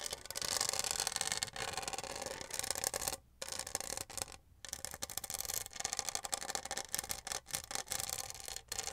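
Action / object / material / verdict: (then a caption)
scrape / studded plastic tumbler scratched with fingernails / plastic / none. Long nails scratch and rub the studded surface of a hollow pink plastic tumbler held up in the air. The result is a bright, dry, continuous scratching texture with rapid ticking grain, broken by a few brief pauses.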